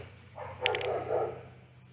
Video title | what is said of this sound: Ladder Shelving Unit Assembly | you can hear in there it's a little glass bead or a steel bead it bounces up and down in there